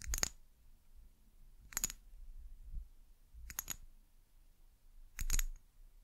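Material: Glass.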